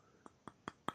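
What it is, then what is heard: Solid resin sculpture. A small hand-molded, resin-filled, hand-painted sculpture bought at a convention, with a string for wearing it, is tapped four times. Each tap is a short, dry click with a bright tone near 1.3 kHz, and each is a little louder than the last. It sounds solid.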